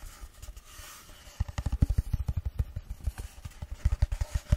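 A long, empty, hollow cardboard tube is held close to a microphone and tapped and scratched with fingertips and long nails. Soft, airy scratching opens the clip, then a quick run of dull, low, boomy thumps follows, each dying away almost at once.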